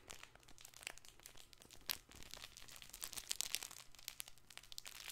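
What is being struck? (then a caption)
Stuffed fabric toy ball. Fingertips and nails rub and scratch the fabric panels of a colorful stuffed fabric ball with a ribbon loop, held in both hands and squeezed. The sound is a quiet, bright, crinkly scratching made of many quick, dry crackles, with a faint low hum underneath.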